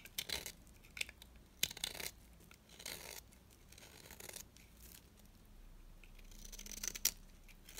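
A metal blade scrapes curls off the surface of a small, solid, dry orange bar of soap held in the hand. The result is a series of quiet, crisp, bright scraping and crackling strokes with almost no low end. Sharp brief ticks stand out among the longer rasping passes.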